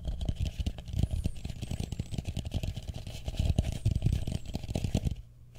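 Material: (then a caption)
Plastic. Fingertips and short nails tap and scratch the outer surface of a medium, matte blue plastic bowl, hollow and empty, held upside down over the microphone. The result is a rapid, uneven run of dull, deep thumps around 70 Hz, with faint scratchy texture between them. The sound stays almost entirely low and boomy and briefly drops quiet just before the end.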